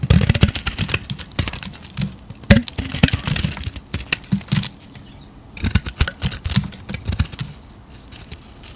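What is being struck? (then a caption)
Soap bar shaved with a blade. A solid square bar of soap, yellow inside with a blue-painted stamped face, is held in a palm with long nails nearby and shaved with a metal utility-knife blade, peeling off thick waxy curls. Dense bursts of crisp, crackling scrapes with bright hiss come in quick strokes, then stop for a short quiet gap before another run of shaving.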